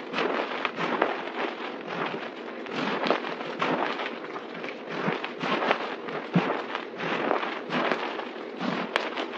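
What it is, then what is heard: Crumbled dry soap pile. Hands scoop, squeeze and press a pile of white crumbled dry soap powder on a table with palms and fingers. The result is a steady, dense crunching and crackling with crisp, bright bursts that rise and fall as the powder is compressed, and little low end.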